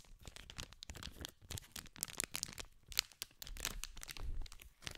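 A small green cardboard candy pack in clear cellophane wrapping is held in both hands while fingertips scratch and crinkle the plastic film. Dense, bright crackles and crinkles come in quick irregular bursts over low, soft handling thumps, with sharper snaps standing out along the way.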